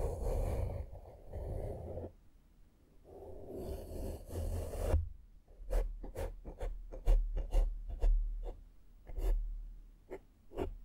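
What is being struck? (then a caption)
Foam microphone windscreen. A small flat makeup brush held in the fingertips sweeps across a black foam microphone windscreen, making two long, soft, muffled brushing passes. These are followed by a quick, uneven series of about thirteen short, sharp strokes. The sound is dull and low-heavy, with a close, rustling texture.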